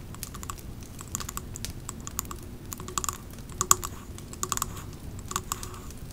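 Long nails tap the glass side and label of a Pumpkin Cupcake three-wick glass candle jar, which has a metal lid, is full of wax, and stands on a rug. The result is a steady run of quick, light, clicky taps with bright glassy ticks and a faint tone near 1.1 kHz that dies almost instantly, over a low, soft background rumble.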